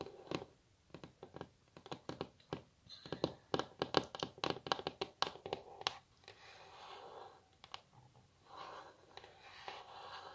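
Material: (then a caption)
Wood. Long natural nail tips of both hands tap a flat, solid, glossy wooden tabletop, possibly laminate, in a quick run of about 28 dry, crisp clicks with almost no ring. After the tapping stops, softer continuous scratching sounds follow in irregular patches.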